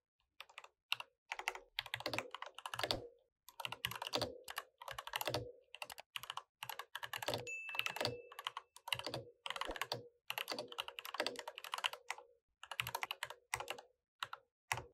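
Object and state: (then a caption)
Plastic mechanical keyboard. Fingertips tap rapidly on an RGB mechanical keyboard with plastic keycaps, typing continuously in bursts separated by short pauses. The clicks are crisp, bright and dry with almost no low end, and each one stops almost instantly.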